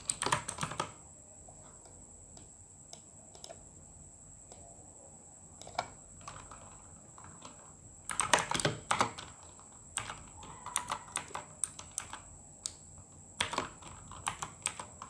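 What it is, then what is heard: Plastic mechanical keyboard. Fingertips tap sparse keystrokes on the plastic keycaps of a full-size RGB mechanical gaming keyboard, giving short, dry clicks. The clicks come in quick bursts at the start, around the middle and near the end, with quieter scattered taps in between. A steady high whine sits underneath throughout.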